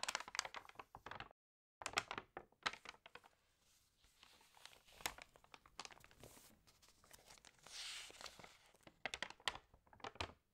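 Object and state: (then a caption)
Glossy paper magazine. Long fingernails tap and rub across the glossy pages of an open home magazine lying on a table, and a page is lifted and turned. Quiet, bright, crisp clicks and papery crinkles come in quick bursts, broken by a short silence early on. A softer, smoother rubbing stretch and a breathy swish as the page turns lead into a final flurry of sharp taps.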